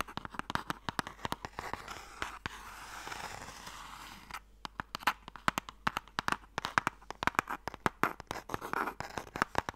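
A closed, hollow, light wooden Mikado box is scratched and tapped with long nails. Dense, fast clicking taps mix with rustling scratches in the middle, sharp and bright with little low end and almost no ring. The nails drum the box in quick, uneven bursts.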